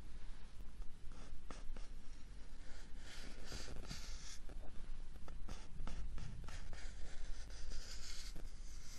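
A small, hollow brown kraft cardboard box is held next to the mic and scratched with fingernails across its surface. The result is steady, dry, raspy scratching with bright hissy bursts over a low, papery rumble, the strokes running into one another without pause.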